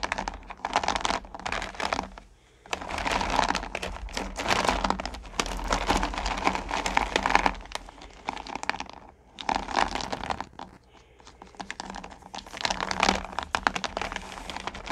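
Hands lift and sift handfuls of small solid pumpkin candy corn over a purple plastic pail, making dense, crinkly clattering and pattering bursts. The rustle swells and fades in waves, with brief quiet gaps between handfuls.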